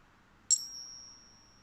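A silver coin balanced on a fingertip is struck once with another coin in a ping test. It gives a sharp metallic tap followed by a clear, high ringing tone that slowly fades over about a second.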